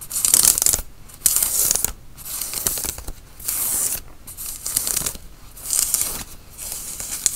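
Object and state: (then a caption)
Cotton t-shirt being scratched. Fingernails scratch a worn grey tie-dye cotton t-shirt at the front and sleeves with arms crossed, making repeated bursts of bright, hissy, rasping scrapes. The strokes come in separated bursts with short quiet gaps between them, and there is little low-end weight.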